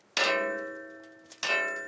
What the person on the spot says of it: quand le vent souffle fort ou quand les personnes viennent, les sculptures en métal peuvent rencontrer, cogner le monument